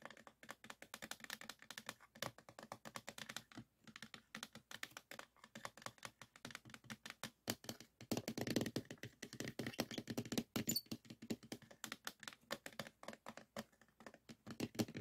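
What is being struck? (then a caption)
Clear plastic case holding floppy disks. Fingertips and nails tap rapidly on the top and edges of a small clear acrylic or plastic storage box filled with a stack of colorful 3.5-inch plastic floppy disks, with a green disk on top. The result is a quiet, steady stream of short, dry plastic clicks and taps with a mid-low body and bright edges, dying away almost instantly. The tapping grows slightly denser and louder in the middle.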